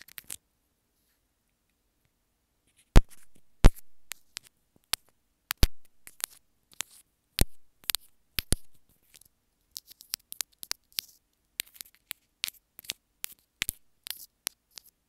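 Long nails tap and scratch a small white plastic inline remote on an earphone cable. After a near-silent start, sharp, dry clicks and thumpy taps arrive in an irregular pattern, with faint scratching between them. Each tap dies away almost instantly.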